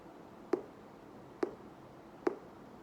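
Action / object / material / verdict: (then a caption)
tap / paper book / paper / none. A paper book is tapped three times to show that sound travels through a solid. Each tap is a short, dull knock centered around 360 Hz that dies away almost instantly, with quiet pauses between the taps.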